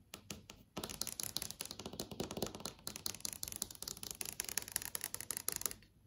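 Long yellow acrylic nails tap and trace across a large, solid flat TV screen of plastic or glass that is showing an app menu. A few sparse taps give way to a dense run of rapid, dry, bright clicks with quick decay, mixed with light scratchy tracing.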